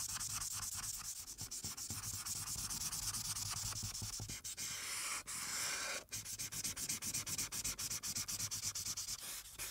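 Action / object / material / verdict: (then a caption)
scrape / felt-tip marker on paper sheet on a clipboard / paper / none. A felt-tip marker makes rapid rubbing strokes over a flat paper sheet clipped to a clipboard, colouring in the background. A bright, scratchy, hissing rub repeats about four times a second, with a few brief pauses near the middle before the quick back-and-forth strokes resume.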